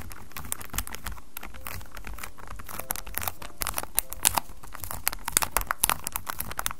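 Fingertips and short nails scratch and tap the sides of a small white cardboard Acqua di Giò perfume box, apparently still in its plastic wrap, standing upright on white paper with a recorder just behind it. The result is quiet, dense, crinkly scratching with sharp, bright little taps that die away instantly, over a steady low background rumble.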